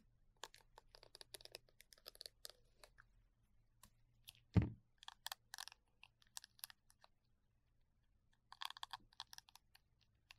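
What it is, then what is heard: Silicone bristle brush head. Gloved fingertips scratch and rub across the short, dense silicone bristles of a small round brush head on a green cylindrical plastic holder, held in the other hand. Quiet clusters of crisp, bright, ticking scratches come in bursts, with one louder, fuller brushing sweep near the middle, over a faint low hum.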